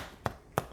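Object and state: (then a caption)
Hollow-sounding, fully baked bread loaf. Fingers thump twice on the bottom of a baked gluten-free sourdough loaf to check doneness, giving two short, dull, hollow knocks with a low body and almost no ring. The hollow sound marks the loaf as done, which an instant-read thermometer reading in the 209–211 degree range confirms.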